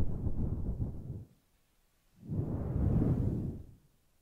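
Long nails and fingertips stroke and scratch a grey, fluffy faux-fur microphone windscreen made of synthetic fur. Two soft, rumbling brushing passes are heard, each lasting over a second with a quiet gap between them. The sound is dull and deep, with almost nothing bright.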